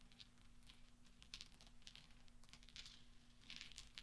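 A pile of small solid steel pachinko balls resting on black velvet is stirred and clinked with fingertips and nails. Soft, bright metallic ticks and brief clinks scatter irregularly across the clip, with a slight swell near the end. A quiet, steady low hum sits underneath throughout.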